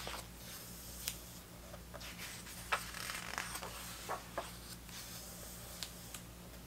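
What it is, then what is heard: Paper pages of a hardcover book being turned. Hands turn the thick paper photo pages of an open vintage hardcover 1970s soccer book, with fingers brushing across the page surfaces. Soft, dry rustles and scrapes are punctuated by several sharper papery flicks. A steady low hum runs underneath throughout.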